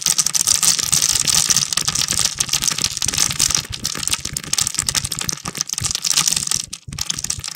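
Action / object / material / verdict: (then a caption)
scrape / soap bar scraped with a knife blade / soap / none. A utility knife blade scores and scrapes grid cuts across a palm-sized, solid translucent red bar of soap held in one hand, shaving off small cubes. The sound is a dense run of crisp, bright scraping and crunchy ticking, with almost no low end. It pauses briefly near the end before resuming.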